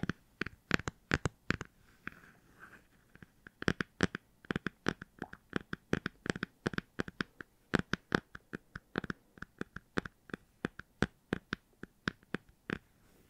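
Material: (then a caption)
Cardboard. A hardcover book is tapped and scratched with quick, irregular strokes. Dozens of short, dry, broadband clicks ring out with almost no decay, mixed with softer scratchy rustles, all at a quiet level.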